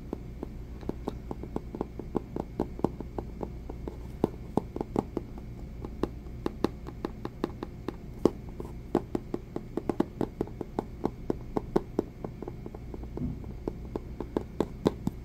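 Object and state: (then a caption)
Cardboard phone box tapped with fingertips. Fingertips and short nails tap and scratch the face of a small white cardboard Samsung Galaxy S III retail box, rigid and likely hollow. A steady run of short, dry taps with almost no ring sits over a low, constant hum, with occasional louder taps standing out.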